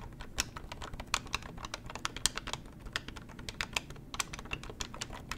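Long nails tap and press the keypad buttons of a beige plastic corded hotel desk telephone held in the hands, and tap its hollow plastic body. A rapid string of sharp, dry clicks, bright and around 3.2 kHz, dies away almost instantly over a low, soft background rumble.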